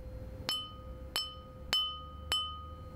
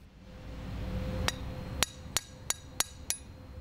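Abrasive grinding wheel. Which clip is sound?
The first.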